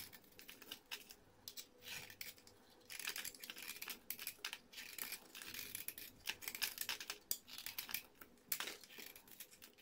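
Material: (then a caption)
Soap. A solid orange bar of soap, held between fingers with red-painted nails, has its surface scraped with a metal blade, shaving off flakes and powder. The result is a quiet, bright, dry crackling and scratchy rasping in a rapid run of short strokes with brief pauses.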